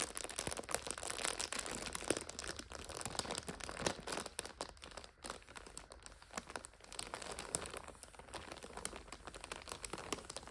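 Long striped acrylic nails press, scratch and crinkle a full purple 5-pack of instant noodles in its crinkly clear plastic overwrap as it rests on a sofa. A dense, steady stream of bright crinkles and sharp crackles continues throughout, with a brief quieter dip around the middle.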